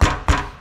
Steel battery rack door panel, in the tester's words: when I knock on it, it's got a little bit of a rattle where you can hear that door opening and closing